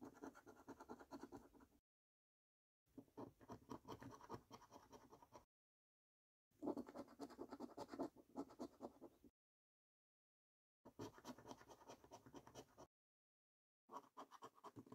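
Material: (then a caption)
Paper. A coin scratches the latex coating off a thin, flat paper National Lottery "3x £1 Million Snack Stack" scratchcard. Five bursts of rapid, rasping scrapes are separated by short silences. The sound is quiet and centred in the midrange with a bright, papery edge.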